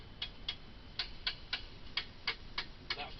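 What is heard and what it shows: A bamboo stem segment is tapped to check whether it holds water, giving ten short, dry, bright clicks at a steady pace that die away almost instantly. The segment sounds hollow, meaning it is empty.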